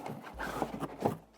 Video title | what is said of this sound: New Ruroc RG2 snowboard helmet honest review | something inside this sounds empty